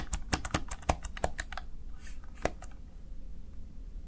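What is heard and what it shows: Fingertips of one hand press the keys of a small backlit plastic Razer Tartarus Chroma gaming keypad. A quick run of sharp, dry clicks comes in the first second and a half, followed by a few scattered presses over a steady low hum. Each click is short and snappy with almost no ring.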